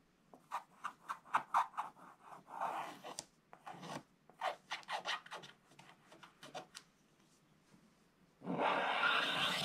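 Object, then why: Coated scratch-art paper scratched with a wooden stylus. A wooden stylus scratches along the bottom edge of a picture on the flat, black-coated paper page of a scratch-art book, with the other hand resting flat on the left page. A quick, uneven series of short, dry, raspy strokes with a bright edge gives way near the end to a louder, steady scraping rasp.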